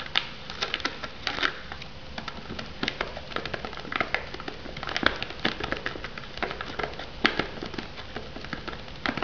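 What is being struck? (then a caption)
Shrink-wrapped foam noodle cup. Long nails tap and scratch the lid and sides of a shrink-wrapped foam noodle cup resting on a wooden board. Dozens of quick, dry, crackly clicks land in an uneven patter over a soft rustling scrape, each tick bright and dying out almost instantly. The taps stay quiet and close throughout, with a few sharper raps standing out.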